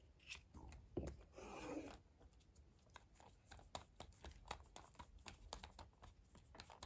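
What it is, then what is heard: Plastic toy capsule being handled and pried open. A small, hollow, closed yellow plastic Kinder Surprise capsule is held in both hands while fingertips and long painted nails grip, rub and twist it to pry it open. Quiet, crisp plastic clicks and nail taps follow one another over soft scraping, with a longer, fuller rubbing swell near the start.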